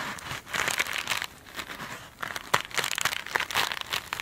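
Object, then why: Mesh foam sponge. Long pointed nails scratch and tap a hand-held glitter mesh foam sponge. The result is crisp, bright crinkling and scratchy rustling in uneven bursts, with sharp little ticks and almost no low end.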